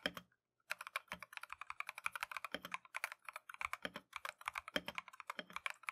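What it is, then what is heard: Mechanical keyboard with plastic keycaps. A compact Keychron V1 mechanical keyboard with Tangerine switches and green-and-white Matcha plastic keycaps is typed on continuously with gloved fingertips. It gives a rapid stream of short, bright, clacky keystrokes with almost no low end and very little ring. There is one brief pause near the start.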